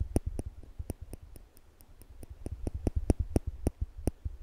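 Small slanted-tip stainless steel tweezers are held in one hand above a microphone while the fingers squeeze the arms so the metal tips click together repeatedly. The result is a steady series of short, dry clicks with a soft low thump and a faint high tick, each dying away almost instantly and sitting close in a quiet background.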